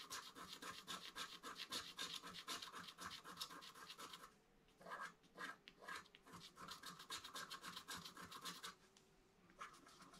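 A wooden stylus scratches along the right-hand motif of a flat black-coated scratch art card held at its bottom edge. Quick, dry, bright scraping strokes come in dense bursts, with short pauses between runs and a sparser patch of isolated strokes in the middle.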